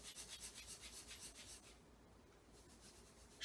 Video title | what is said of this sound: Zoe's Tips, Tricks and How To's Episode 02: The My Weigh Talking Scale | instant coffee the grains are much bigger than sugar so it's louder